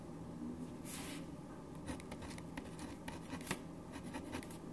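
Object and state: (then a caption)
Ballpoint pen writing on paper. A black ballpoint pen is drawn continuously over a single printed white paper sheet resting on a wooden desk, its tip scratching the surface. Soft, dry scratching strokes come through as brief bright ticks over a steady low hum. The writing carries on quietly throughout.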